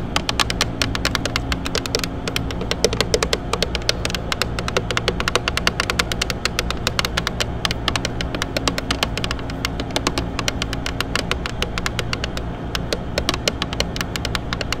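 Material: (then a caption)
Plastic. Long acrylic nails tap and scratch rapidly on the white painted plastic mirror cap of a Benz car's side mirror, a hollow shell that gives quick, bright clicks with very short ring. A steady low hum runs underneath throughout.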